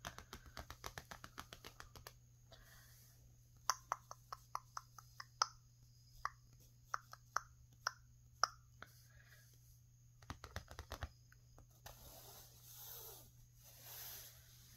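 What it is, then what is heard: Painted canvas panel tapped with nails. Long painted nails tap and scratch across the surface and edge of a flat rectangular painted canvas (a bunny painting), thin and taut over a frame and lying on a patterned cloth. A quick run of light taps gives way to slower, spaced hollow plops ringing around 1.3 kHz, then another brief flurry of taps before soft scratching strokes close the clip over a steady low hum.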